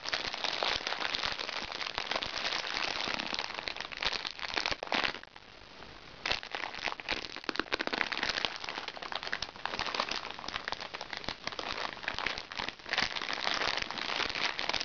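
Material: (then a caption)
Plastic. A small crinkly recycled plastic makeup bag lies flat on a lap while fingertips and nails tap and scratch the plastic. The result is a dense, bright crackling and crinkling with many quick, sharp clicks. It drops to a soft hush for about a second near the middle before the busy scratching resumes.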